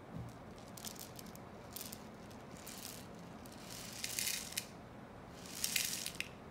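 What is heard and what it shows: A long, hollow rain stick made of joined brown cardboard tubes, with one end capped in aluminium foil, is held in the hands and tilted and shaken so its contents rattle and trickle along the tube. Short, bright, scattered rattles come first, then two louder, swelling hiss-like washes of trickling near the end. A faint low hum sits underneath throughout.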